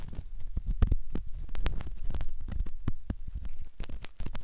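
A metal ear pick scratches around the canal opening of a soft silicone ear model. Close, muffled scraping and rubbing come through as a dense run of low, thumping bumps with brief bright clicks. There is almost no ring after each stroke.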